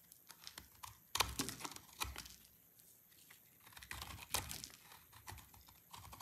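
A palm-sized solid bar of dry orange soap is held in the hand and scraped and cut with a snap-off utility blade, and flakes fall onto a wooden board. The clip is full of quiet, bright, dry scratches and crisp crunchy cuts, some louder, with a thin background hiss between strokes.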